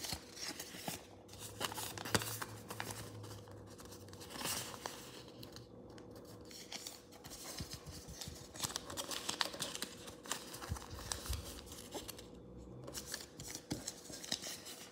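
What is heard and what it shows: A thin square sheet of blue origami paper is held and then folded flat on a wooden table, its creases pressed with fingertips and nails. Soft crinkling and rustling mix with dense, bright scratchy clicks and sharp creasing snaps over a faint steady low hum.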